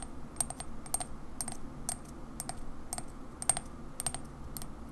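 A ceramic Coca-Cola mug, held on its side, has its white ceramic base tapped slowly with long fingernails. The taps are sharp, bright clicks that stop almost instantly, some in quick pairs, spaced evenly over a low, steady background rumble.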